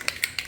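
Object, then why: Metal spray paint can with mixing ball. A spray paint can is shaken before painting a door, its mixing ball rattling inside with three sharp, bright clicks that stop almost instantly. A cold can makes it hard to get the ball moving all the way, while warming it in the sun gets the ball going well to mix the contents.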